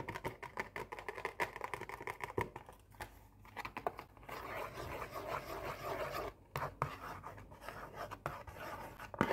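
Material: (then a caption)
Cardboard. Long painted nails trace and scratch across an opened, hollow Oreo cookie box made of printed cardboard. Quick, dry scratches and light taps come first, then a denser, steady scraping run follows before the short scratches return. The sound is mostly midrange rasp with little low body.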